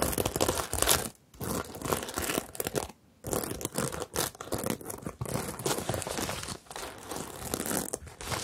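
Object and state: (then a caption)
Plastic sequin bag being scratched. Long nails and flat fingers rub and scratch across a medium, hollow rainbow bag covered in plastic sequins on fabric, flipping the sequins. The result is a dense, bright, crinkly scratching and rustling that comes in bursts, with brief near-silent pauses around 1 and 3 seconds.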